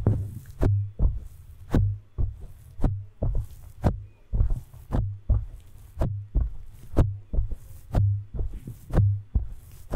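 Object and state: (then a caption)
Foam microphone windscreen. Both hands grip, squeeze and rub a large, soft, porous black foam windscreen on a studio microphone with their palms and fingers. This produces a steady run of muffled, deep thumps with sharp clicks and soft rustling between them.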